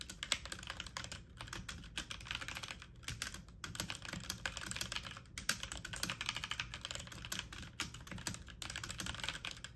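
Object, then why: Mechanical computer keyboard with plastic keycaps. Fast typing on a full-size backlit mechanical computer keyboard with plastic keycaps, the keys pressed quickly with fingertips and medium-length nails. A dense, continuous stream of bright, clicky plastic taps with very short decay runs throughout, over a faint low background rumble.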